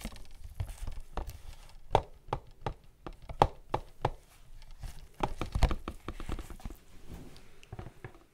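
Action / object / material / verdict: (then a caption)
tap / printed cardboard box / cardboard / none. A tall, hollow, black-and-white printed cardboard box is held close to the microphone and tapped and scratched with fingertips in white latex gloves. Dull, hollow taps land in an irregular rhythm, each short and heavy in the low end, with soft scratching rustles in between.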